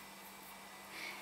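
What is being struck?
Nothing is struck.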